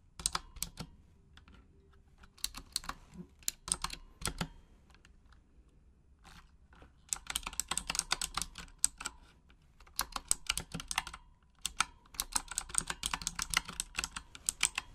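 Long acrylic nails type on a full-size pink Razer Huntsman mechanical gaming keyboard with RGB backlighting and plastic keycaps, typing in Japanese. Quick runs of sharp, bright plastic clicks and clacks come in bursts separated by brief pauses. Each keystroke is short and dry, with almost no ring.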